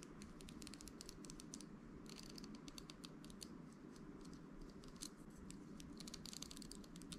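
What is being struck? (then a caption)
Round hairbrush with plastic and metal bristles. Fingertips and nails scratch and flick across the plastic and metal bristles of a round hairbrush with a glossy amber plastic handle, held in one hand. The result is a dense, continuous patter of quick, bright ticks and scratches over a steady low hum.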